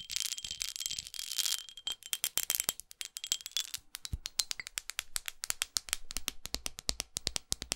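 Long acrylic nails scratch across a textured glass perfume bottle for about the first two seconds, producing a bright, hissy rasp with a faint high ringing tone. The nails then tap the bottle in quick, uneven bursts of dozens of sharp, dry clicks that barely ring, all concentrated in the high frequencies.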